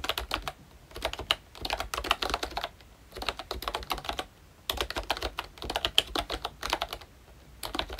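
Both hands tap with their fingertips on a pink plastic ROYCHE Disney Mickey Mouse retro membrane keyboard with round black keycaps. Quick, light, bright plastic clicks come in rapid bursts of typing separated by short pauses. Each tap is dry and dies away almost instantly, with little low-end thump.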